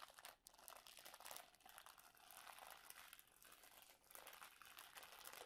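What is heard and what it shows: Fingertips and flat hands tap, rub and press the clear plastic film sealing a long, solid, full roll of stacked round cookies lying on a towel. The result is a quiet, continuous, bright crinkling with steady rustling texture and almost no low end.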